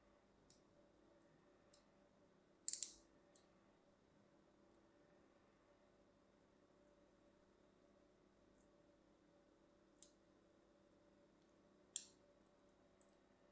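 A solid white branded bar of soap held in the hand is scored with a thin metal blade, producing short, bright, crisp scratching and cutting strokes. The strokes are scattered across long stretches of near-silence with a faint, steady low hum, and each one dies away almost instantly.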